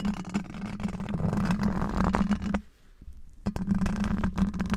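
Black rubber-gloved fingertips scratch and tap all over a large, hollow, domed steel wire-mesh microphone grille. Close, rough scraping and quick taps sit over a steady low hum. The sound drops to near quiet for about a second in the middle before the scratching resumes.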